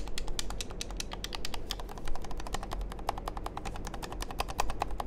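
Fingertips and nails press, click and tap the buttons and shell of a small hollow black plastic handheld game controller held in hand near the microphones. A rapid, dense stream of short, sharp plastic clicks and taps rings out, bright and crisp, over a steady low hum.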